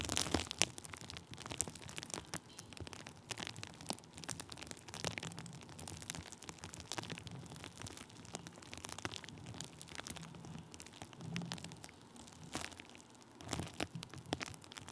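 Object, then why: Plastic bubble wrap. Thin clear plastic bubble wrap draped over the top of a microphone is pressed and rubbed with the end of a wooden stick. A dense, continuous crinkling and crackling rustle is heard, full of small sharp pops and scratchy bright texture with a soft low rumble underneath.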